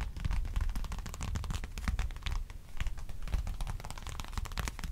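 A small black wallet, likely leather, is held in both hands close to a microphone while fingertips tap and nails scratch across its surface and edges. The result is a dense, continuous stream of soft, dull taps with a deep low thump, threaded with brief bright scratchy rasps.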